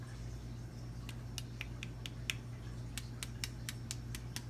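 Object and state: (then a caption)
Crispy fried fish batter. The tempura-battered crust of fried cod crunches in 13 short, sharp, crackly bursts over a steady low hum. The crisp crackles confirm the fish skin is crispy, as intended.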